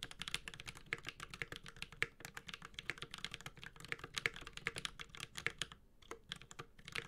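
A Space65 Cybervoyager 65% mechanical keyboard with a white-gold aluminum case, GMK ABS keycaps and tactile Holy Panda switches sits on a desk and is typed on continuously with the bare fingertips of both hands. Rapid, bright, clacky keystrokes centered around 2 kHz come in quick, dry bursts that stop almost instantly, with a brief lull near the six-second mark before typing resumes.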